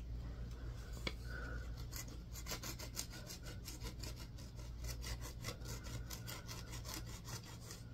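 A yellow multi-tined tool on a wooden handle scratches a palm-sized solid green bar of soap. Quick, bright rasping strokes repeat steadily over a constant low hum, with one sharp click near the start.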